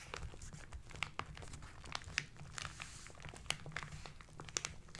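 Hands with short nails rub and press the wrinkled brown kraft paper wrapping of a parcel. Many sharp, bright crinkles and crackles ring out over a low, steady rumble and fade almost instantly.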